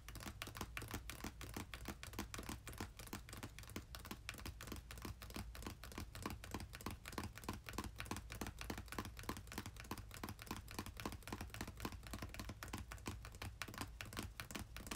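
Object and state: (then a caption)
Cardboard box. Fingertips and short nails of both hands tap and drum rapidly on the top of a small, closed, red printed cardboard game-console box with its contents inside, resting on a bed. The clip is a steady stream of quiet, dry, crisp clicks that die away instantly, with a constant low hum beneath them.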